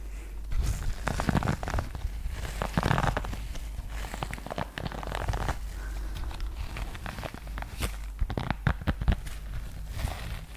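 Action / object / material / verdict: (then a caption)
scrape / rubber-nubbed grooming glove / rubber / none. A red pet grooming glove with soft rubber/silicone nubs on the palm and grey fabric trim is held in one hand close to the microphone while long painted fingernails scratch and brush across the nubs. The result is a dense run of quick, dry crackling scratches and soft brushing strokes with a low rumble underneath, rising in short bursts and fading with almost no ring.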